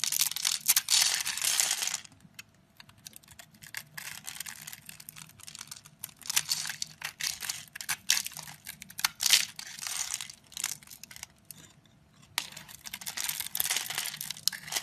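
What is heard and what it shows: A metal blade scrapes a solid, rectangular white bar of soap held in the hand, shaving it into powdery crumbles. A dense, bright, crackling scrape opens loudly for the first two seconds, thins into quieter, sparser crinkling strokes through the middle, and swells again toward the end.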